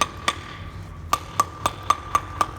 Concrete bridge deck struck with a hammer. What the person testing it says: You hear how hollow that is.